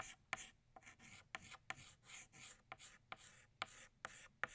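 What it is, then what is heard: Chalk drawing on a chalkboard. An orange chalk stick outlines a second flower on a flat black chalkboard, making continuous bright, dry scratching strokes. Nine sharp taps or clicks stand out where the chalk strikes the board, with quiet gaps between strokes.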